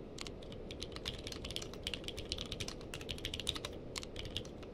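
A purple-cased mechanical keyboard with plastic keycaps is typed on with the fingertips of both hands. The result is a rapid, steady stream of short, bright clicks and clacks around 3.6 kHz, each dying away almost instantly, over a low, constant background rumble.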